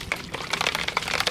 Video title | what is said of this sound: Detailing Product Bottle Hack? Easier To SHAKE! | you hear it? There's a ball.